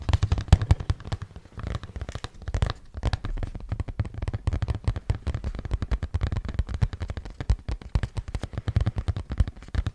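A hollow, printed cardboard product box is held in front of the microphone and rapidly tapped with the fingernails on its faces. The result is a dense, continuous stream of short, dry taps with a deep, hollow thump at their core and very little brightness. Each tap dies away almost instantly.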